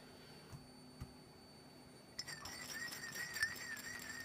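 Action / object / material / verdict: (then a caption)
tap / small glass perfume bottle with liquid / glass / none. Long fingernails tap the top and shoulder of a small, hollow black glass perfume bottle with liquid inside, held close up. Two soft, separate taps come first, then a quicker, denser run of bright glassy clinks with a short ring near 1.8 kHz, over a faint steady high-pitched tone.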